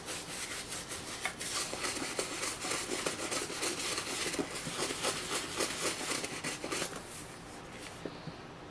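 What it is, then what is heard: Leather sneaker scrubbed with a brush. A toothbrush scrubs the soapy toe box of a black and green leather high-top sneaker, held upright and hollow. Quick, uneven bristle strokes make a bright, scratchy rasp for about eight seconds, then stop, leaving a faint hiss.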